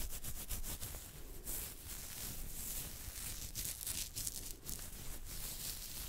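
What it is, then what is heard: Beard hair being scratched. Fingertips and nails scratch and rub the hair of a full beard on the chin and jaw, at the side of the jaw. A steady run of crackly, bright scratching rustles repeats in quick strokes over a low, muffled rumble.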